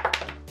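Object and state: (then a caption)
Metal credit card dropped on edge. A metal credit card (an American Express Business Gold card) is dropped on its edge, giving three quick, light taps with a short, bright, slightly metallic click that fades fast. A steady low hum runs underneath.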